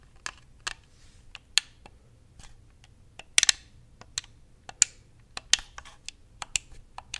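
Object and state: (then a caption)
Plastic game controller. Fingertips and nails tap and click the buttons of a white, hand-sized, hollow plastic Xbox controller. A scattered series of short, sharp, bright clicks and taps comes at an irregular pace, some louder than others. Each dies away almost instantly over a quiet background.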